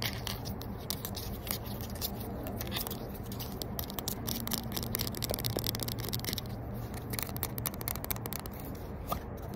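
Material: Plastic.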